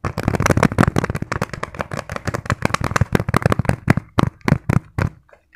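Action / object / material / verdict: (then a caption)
tap / padded fabric zipper pouch / fabric / none. Fingertips tap and scratch very fast on a small, padded green fabric pencil case with a zipper. Rapid, dull, low-pitched thuds blend with soft scratching, then thin out into a few separate taps before stopping.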